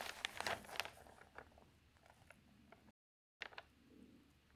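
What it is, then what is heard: Newsprint newspaper pages being turned. Fingertips with long nails turn the thin pages of an open newsprint newspaper and fold them over. Bright, crisp crinkling and rustling bursts come first, then fade into soft scraping, followed by a brief silence and another crinkle as a page is folded.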